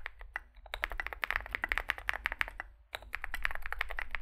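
Fingertips type continuously on a small Zoom65 65% mechanical keyboard with a dark case and white and grey SA plastic keycaps, producing a rapid stream of short, sharp plastic clacks centred around 1.7 kHz with bright edges. The typing pauses briefly near the end before resuming, over a steady low hum.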